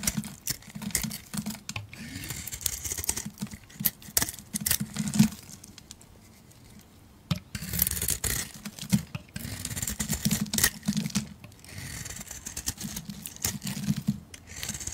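A metal blade scrapes shavings off a solid oval soap bar with a purple coating and a yellow core, held in the hand. Dense, rapid crisp scraping and crackling ticks come with a low, soft scraping body, pausing almost to silence around six to seven seconds before the scraping resumes steadily.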